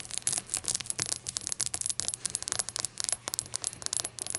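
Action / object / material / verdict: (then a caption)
tap / small glazed ceramic shot glass / ceramic / none. A small, hollow, rainbow-glazed ceramic shot glass standing on a towel is tapped quickly with long acrylic nails. The result is a steady run of light, crisp clicks and ticks with a bright, high, glassy ring that dies away almost at once, and very little low end.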